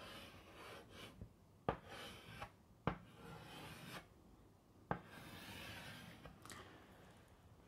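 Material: Chalk.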